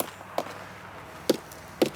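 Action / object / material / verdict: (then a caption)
strike / oak tree trunk / oak wood / solid. A veteran Chinquapin oak trunk is sounded near where an anchor root came loose, giving three sharp, dull knocks with a mid-pitched thud and almost no ring. The trunk there is found to be solid.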